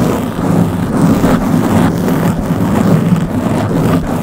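Long blue-painted nails of both hands scratch the round black foam windscreen covering the head of a Blue Yeti microphone. The result is a steady, dense, rumbling scratch with a strong low hum-like body, continuous with no separate hits and only faint brighter crackle above.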